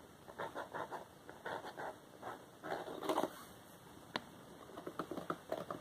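Fingertips and short nails tap and scratch a small, glossy paperboard Wowax depilatory hard wax box that is hollow with its contents inside. Quiet, dry, papery taps and scratchy brushes come in quick clusters, each dying away almost at once. Around the middle there is a louder scraping burst, followed by a single sharp click.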